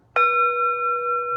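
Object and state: Empty singing bowl ringing freely.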